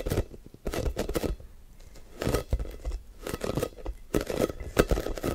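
A blue, hand-sized hollow plastic air ball with a football pattern is held in both hands while fingertips and short nails quickly grip, squeeze and tap its surface. Bursts of hollow, crinkly tapping and scratchy gripping come in rapid clusters with short pauses between them. The sound is dull and low-heavy, with very little ring.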